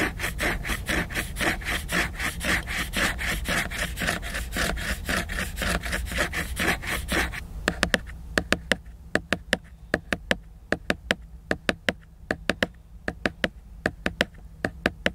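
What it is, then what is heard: Hardcover book with glossy laminated cover, solid. Fingernails scratch rhythmically across the glossy laminated cover of a solid hardcover book for about seven seconds, making a dense, bright rasping sound. Fingertips then tap the same cover in sharp, short clicks at an uneven pace, while a faint low hum continues underneath.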